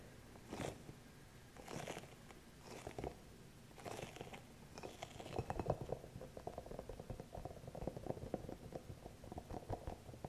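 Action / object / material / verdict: scrape / hollow rubber spiky massage ball / rubber / none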